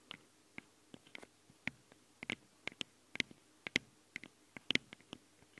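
Long nails tap and scratch the metal grilles of the two microphone capsules on a handheld recorder. About 17 sharp, bright clicks stand out against a quiet hiss, each dying away almost instantly, with a few faint scrapes between them.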